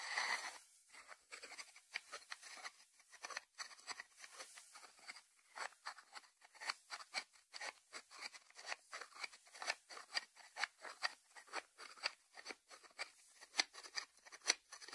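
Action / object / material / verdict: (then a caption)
scrape / small ceramic lidded salt dish / ceramic / none. Short nails scratch and fingertips tap the lid of a small, hollow white ceramic salt dish with its lid on, resting on a wooden board. Quiet, dry scratching gives way to a quickening run of crisp, bright clicks and taps that die away almost instantly, with no low end.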